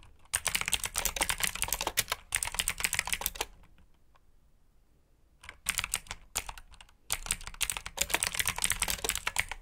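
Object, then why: Mechanical keyboard with plastic keycaps. Fingertips type continuously on a black backlit mechanical keyboard with plastic keycaps, giving fast, bright, clacky keystrokes. The typing comes in bursts, with a quiet pause in the middle before it resumes.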